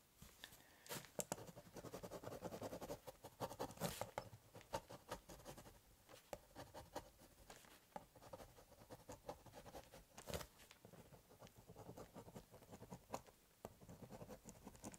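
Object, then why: Corrugated cardboard box and ballpoint pen. A biro scratches short hatching strokes across the surface of a large, hollow corrugated cardboard box. Quiet, dry, rapid scratchy strokes come in bursts with brief pauses, with a faint hollow resonance from the box and occasional brighter sharp ticks.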